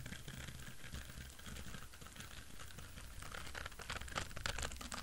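An orange, palm-sized silicone scrubber pad with short bristles, soft, flexible and solid, is scratched and tapped with fingertips and nails. It gives a quiet, rapid, irregular patter of dull low thumps mixed with crisp, bright scratching. The scratching grows busier and sharper in the last couple of seconds.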